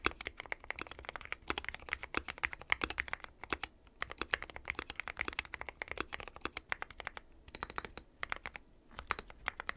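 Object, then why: Mechanical keyboard with plastic keycaps. Fingertips of both hands type continuously on a dark metal-cased mechanical keyboard with white and pastel plastic keycaps. The result is a steady stream of rapid, bright, clacky key taps, each short and dry with no ring, centered around 2 kHz. The taps come in busy bursts with brief pauses between them.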